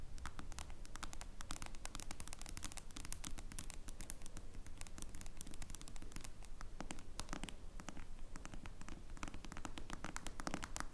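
Long blue nails quickly scratch the screen and clear plastic case of a smartphone lying flat. The result is a dense, steady stream of fast, bright scratchy clicks and taps over a soft low rumble.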